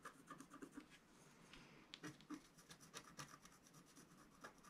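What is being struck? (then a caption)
Wax-coated scratch-art paper sheet scratched with a wooden stylus. A wooden stylus scratches lines into the coating of a flat, black-coated scratch-art sheet, about A4 in size, lying on a table, working in the lower middle of the sheet. The clip is a quiet, fast, irregular run of short, dry scraping strokes, about four per second, each with a brief rasping hiss and a bright edge and no ringing after.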